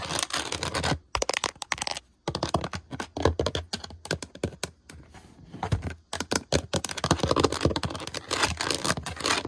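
Long decorated nails quickly tap and scratch the woven texture of a white rattan-style drawer front, most likely plastic, on a hollow drawer unit. Dense bursts of dry clicking and raspy scraping run throughout, broken by short quiet pauses.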